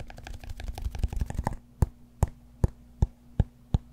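Fingertips tap and nails scratch the broad face of a large solid cork yoga block. A quick, dense flurry of overlapping taps and scratches gives way to six separate, evenly spaced taps. Each is a dull, low thud with a short bright click on top and almost no ring, over a faint steady low hum.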